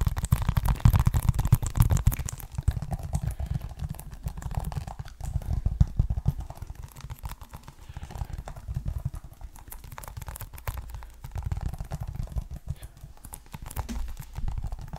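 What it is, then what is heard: Plastic game case. A hollow, closed, hand-sized green plastic Xbox One game case, with a printed paper insert under a clear plastic sleeve and a price sticker, is held in both hands close to the microphone and tapped and scratched with fingertips and nails. The result is a dense, irregular stream of soft, dull taps and scratchy rustling, mostly low and thuddy with short, dry decays. It grows busier and quieter in waves over the clip.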